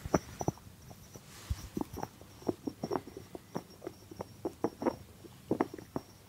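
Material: Cork.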